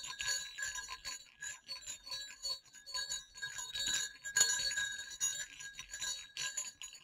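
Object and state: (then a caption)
Pair of small metal jingle bells. Two small, hollow silver metal jingle bells on a cord are shaken over black cloth, knocking together. The result is an irregular run of bright clicks and high, tinkling dings, each fading quickly with almost no low end.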